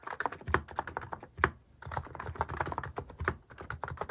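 Fingertips type repeatedly on a cream plastic-case mechanical keyboard fitted with cat and paw-shaped plastic keycaps. The result is a steady run of short, dry clacks with a mid-range body, each key dying away almost instantly, with a few heavier strokes standing out.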